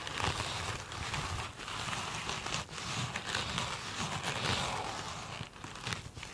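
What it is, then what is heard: Glitter-coated foam sponge. Long acrylic nails scratch and tap one small rectangular foam sponge with a glitter-coated surface. The result is a steady, dense crinkling and crackling scratch, bright and hissy up high, with soft low thumps from the taps and a few brief dips in level.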